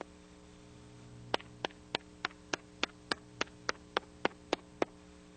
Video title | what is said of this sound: Inspection of Spillways and Outlets | tap the surface with a hammer and listen for a hollow sound